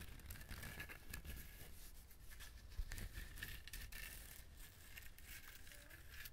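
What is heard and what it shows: Fingernails scratch the rough, fibrous surface of a whole dried husked coconut held close to the microphone. It makes a steady, dry crinkling scrape with bright crackly bursts over a low rumble, with no clear pauses.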